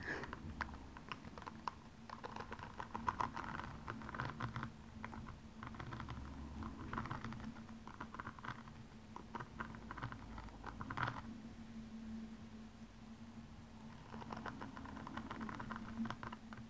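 A single blue rhinestone-covered high heel shoe stands upright, hollow and empty, as long nails scratch and tap the rhinestones on its toe. The sound is a quiet, dry patter of many rapid clicks and scratchy ticks with no ring, over a steady low hum.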